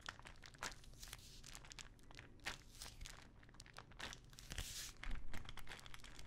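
Long nails tap and scratch a small clear plastic ibuprofen bottle full of pills, making quiet, irregular clicks and bright scratchy rasps. The taps are short and dry, with a faint low rumble underneath and slightly louder bursts near the end.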